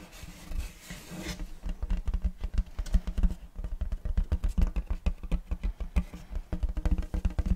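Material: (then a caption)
Wood. Fingernails scratch across the surface of a large, flat, round wooden serving tray with a checkerboard block pattern, solid and empty. Quick, repeated scraping strokes form a dense run of dull, low, muffled rasps that stop short with almost no ring.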